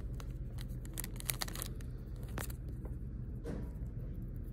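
A small, flat pack of puffy foam stickers in a clear plastic sleeve is held in one hand while fingertips and painted fingernails tap and scratch across the raised stickers and the plastic wrap. Quiet, bright crinkling taps and short scratching strokes sit over a steady low hum.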